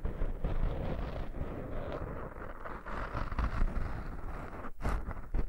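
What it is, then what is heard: Foam microphone windscreen being scratched. Fingertips and short nails scratch and rub in a circular motion over two soft, porous black foam windscreens on binaural microphones. The result is a continuous, dense, low rumbling rustle with scratchy texture and brief dips, heavy in the bass like close-up wind buffeting.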